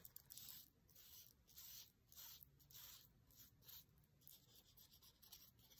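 A thin wooden skewer scratches and traces along the lines of printed text on an open paper cookbook page. Quiet, bright, dry scratching comes in uneven rubbing strokes with brief pauses between them.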